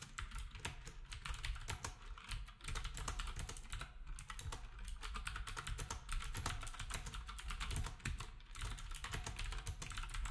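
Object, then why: Keyboard with round plastic keycaps. Fingertips of both hands type steadily on a black, typewriter-style retro keyboard with round plastic keycaps. The result is a rapid, continuous stream of sharp plastic clicks over a soft, low thump from the keys bottoming out, with each stroke fading quickly.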